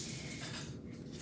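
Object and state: Nothing is struck.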